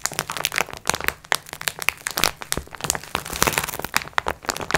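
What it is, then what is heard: Plastic-wrapped pack of sponge cloths. Long red nails tap and scratch the plastic wrap of a multipack of sponge cloths lying flat on a table, using both hands. It makes a rapid, uneven stream of bright, crisp crinkles and clicks with short scratchy rasps between them. Each tap stops dead, with almost no low end.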